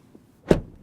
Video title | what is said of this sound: Asa arata viitorul AUDI! Noul Q6 scrie o noua pagina în cartea de istorie a brandului | it sounds full when you close the door